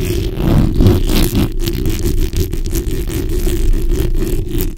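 The backs of long nails scratch across a black hollow steel mesh microphone grille. The result is a dense, continuous rasping and rumbling, heavy in the low end, made of quick overlapping strokes with faint bright scratchy streaks on top.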